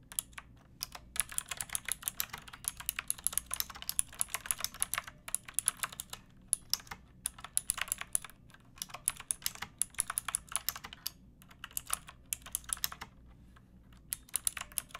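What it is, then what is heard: Plastic mechanical keyboard being typed on. Fingertips with long painted nails type on a pink backlit plastic mechanical keyboard with round typewriter-style keycaps and a hollow case. The result is a steady stream of short, bright, clacky keystrokes in uneven bursts, with brief pauses between them and a faint low hum underneath.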